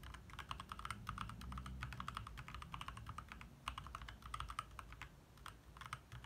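Both hands tap quickly with their fingertips on a compact 60% backlit mechanical keyboard with lit plastic keycaps. The result is a steady stream of short, dry clicks centered around 1.3 kHz with brief bright ticks, over a low rumble.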